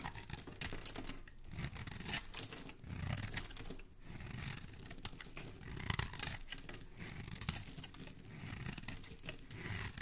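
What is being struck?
Soap bar scraped by a metal knife blade.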